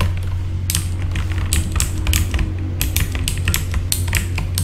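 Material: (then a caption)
Plastic. A full-size backlit mechanical keyboard with plastic keycaps is typed on with the fingertips of both hands, which have short red-painted nails. Bright, clicky keystrokes come in quick irregular bursts over a steady low hum.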